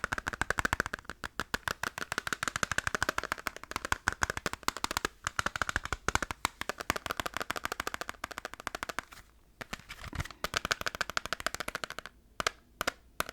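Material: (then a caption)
Plastic. Fast, continuous tapping on a plastic PS2 Final Fantasy game case, which is being compared with a PS1 case. The crisp clicks blur into a dense rattle with a bright ring around 1.5 kHz. Brief pauses break up the rhythm near the end.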